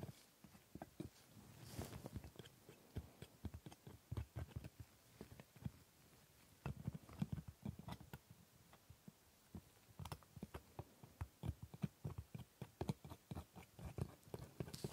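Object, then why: Plastic dental model teeth tapped with a steel scaler. A hooked steel scaler taps and scrapes along the front teeth of a plastic dental model. Around 28 quiet, dry clicks and ticks come in irregular clusters, with short scraping passes between them. Each sound dies away almost at once, and the overall tone stays soft and low.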